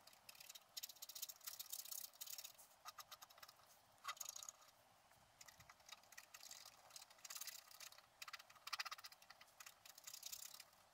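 A wooden stylus scratches the black coating of a flat scratch-art card near the top and on the right. The result is a quiet, dry, bright rasping made of rapid, closely spaced scratch strokes that come in bursts with short pauses between them.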